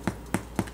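A small loaf of bread just out of the oven is tapped three times, giving short, dull, low thumps with almost no ring. The hollow sound shows the bread is baked through and done.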